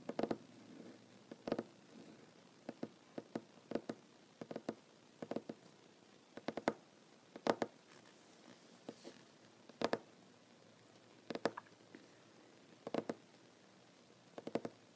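A large solid wooden tabletop is tapped with short nails and fingertips of one hand wearing rings. The result is quiet, dry, woody clicks and knocks in irregular bursts and clusters, each dying almost instantly, with a mid-range tone near 460 Hz and a faint bright tick on the nail strikes.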